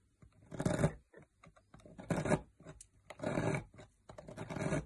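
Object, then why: Solid bar soap cut by a metal knife. A metal knife blade carves into a solid green opaque bar of soap, shaving off curls and flakes. Four longer, dry scraping strokes stand out, with short, soft scratchy cuts between them. The sound is mostly low and muffled with a brief grainy edge, and each shave stops with no ring.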